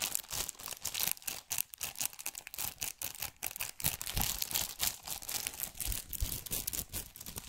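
Long nails tap and scratch across the cellophane-covered front of a plastic PS4 game case still in its shrink wrap. The result is a rapid, uneven run of short, bright crinkly taps and scraping rustles that die away almost instantly, with little low-end body.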